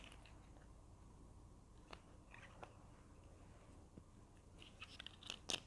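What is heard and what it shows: Long nails scratch and tap a small, hollow, red plastic Berlingo glue stick tube, including at the cap end. Quiet, dry scratching runs under sharp, bright clicks that die away almost at once. The taps grow louder and more frequent near the end.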